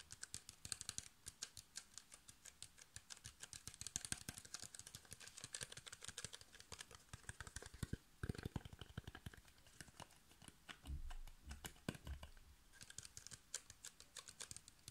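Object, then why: Plastic water bottle with plastic cap. Fingernails tap quickly on the blue plastic cap and ridged sides of a clear, empty PET water bottle, making a fast, steady stream of short, bright plastic clicks. Around the 8- and 11-second marks, a few duller, lower thumps break up the clicking.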